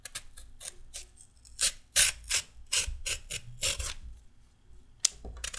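A short raw carrot held in the hand is scraped with a red-handled metal peeler in a series of quick, uneven strokes. Each stroke is a bright, rasping scrape with very little low end, and there are short pauses between them.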